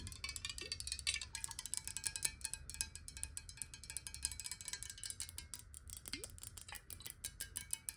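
Long nails tap rapidly on the sides and base of a clear glass bottle filled with water while it is turned in the hands. The result is a dense stream of quick, bright glassy clicks with short high ringing tones and a faint low rumble underneath.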